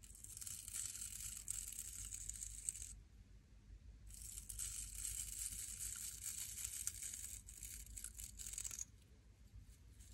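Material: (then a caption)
Natural bristle. Long polished nails scratch along the stiff natural bristles of a small solid wooden nail brush held in one hand. Two bursts of dense, bright, crackling scratching are heard, the first lasting about three seconds and the second about five. The bursts are separated by a short quiet gap over a low background rumble.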